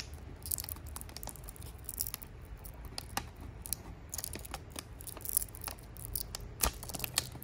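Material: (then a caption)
Metal foil. A small, empty silver metallic foil tea sachet is held in both hands while the fingertips fold, crinkle and rub it. Quick, crisp crackles and bright ticking snaps come in irregular bursts over a steady low rumble, with each crackle dying away almost instantly.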